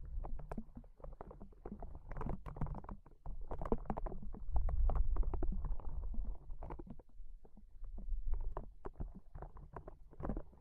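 A small, hollow, yellow-green soft rubber spiky ball is held in one hand and squeezed repeatedly with the fingers. It gives a steady run of dull, low, muffled squishes and rubbery creaks, with irregular timing and no ringing after each squeeze.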